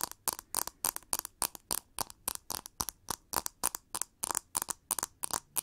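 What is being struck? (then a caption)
Plastic paddle hairbrush. Long nails scratch and tap a pink plastic paddle brush with a textured back and ribbed handle, making about 30 quick, crisp, bright clicks and scrapes in an uneven rhythm. Each sound is short and dry, with no ring after it.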